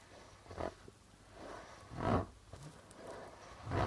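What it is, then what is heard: Plastic-headed darbuka drum. A medium goblet-shaped darbuka drum with a dark red body and a white plastic membrane is tapped and rubbed by fingertips with medium nails. Soft, hollow taps with low thuds rise at intervals over a quiet rustling of the drumhead.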